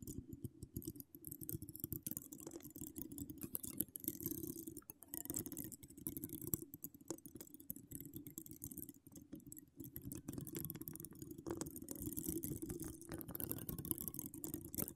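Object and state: Metal mesh microphone grille being scratched.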